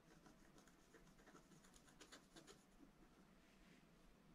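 A wooden stylus held in the fingers scratches the lines of a fountain picture into a black wax-coated scratch art sheet with a rainbow layer underneath, lying flat on a table. Quiet, dry scraping strokes repeat at an uneven pace. Brighter bursts stand out around the middle of the clip.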